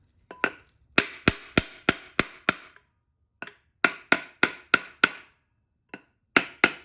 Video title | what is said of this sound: 7. Ford 4R100 Rebuild - Case Assembly Pt 2 | start tapping the pump into place and once you kind of hear that flatter tone you know the pump's fully seated